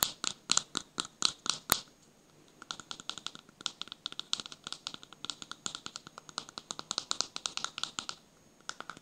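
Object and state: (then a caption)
Plastic cosmetic jar. A small plastic cosmetic jar with a pink plastic lid, held in one hand near the microphone, is tapped and scratched with fingertips and short nails. A run of louder, evenly spaced taps is followed by a short pause, then a long stretch of quicker, softer tapping and scratching that stops briefly before a few final taps. The sounds are dry, bright plastic clicks with almost no ring.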